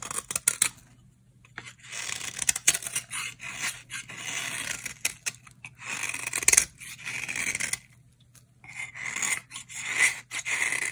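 A solid, dry orange bar soap held in the hand is scraped with a utility knife blade, shaving off powdery flakes. The clip is a run of bright, dry scraping and crumbling strokes with short pauses between them and almost no low end.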